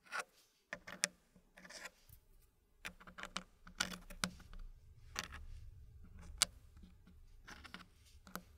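Fingers place and rub solid dark-wood puzzle pieces into the slots of a green-painted wooden tray. Sharp, bright wood-on-wood clicks stand out over quieter scraping and rubbing, and each click dies away almost at once.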